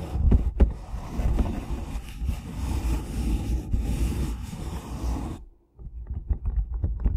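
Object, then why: Cardboard tea box. Fingertips and nails tap and scratch the surface of a closed, hollow rectangular cardboard tea box (Red Rose Caramel Apple Pie, 18 tea bags) held flat on top of a foam-covered microphone. A dense, low, boomy scratching rumble runs for about five seconds, drops to a brief silence, then gives way to a string of soft, dull taps.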